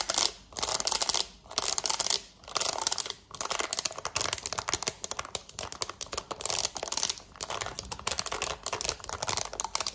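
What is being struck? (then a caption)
Plastic TV remote. Long nails rapidly tap and scratch the number buttons of a black plastic TV remote held close up. Dense, bright clicks and scratchy rasps run in quick bursts, broken by a few short pauses early on. The sound is dry and thin, with almost no low end.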